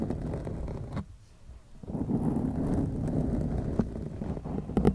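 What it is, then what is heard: Foam microphone windscreen being scratched. Long acrylic nails on both hands scratch a black foam windscreen on a white microphone, producing a dense, low, muffled rustling scrape. The scratching fades to near silence for about a second, then resumes steadily with a few sharper scrapes toward the end.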